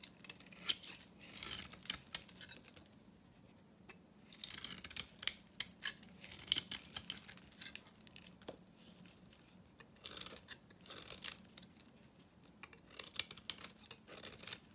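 A hand-held solid bar of dry soap, painted blue over red, is scraped and carved with a metal knife blade. Bursts of bright, crisp scraping and crumbly cutting sounds come in clusters separated by quiet gaps. Each stroke ends abruptly with no ringing.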